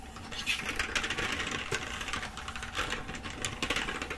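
Fingers with long acrylic nails type and tap across the letter keys of a black plastic computer keyboard held upright. A rapid, steady stream of light, bright plastic clicks and clacks runs throughout, with occasional sharper taps standing out above the patter.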